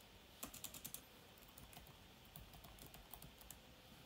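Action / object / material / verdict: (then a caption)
tap / laptop plastic keyboard / plastic / none. Fingertips type on and tap the low-profile plastic keys of an open silver-white laptop, producing about twelve quick, dry clicks. A fast burst of taps comes early, followed by sparser clicks over a quiet background hiss. Each click is bright and dies away almost at once.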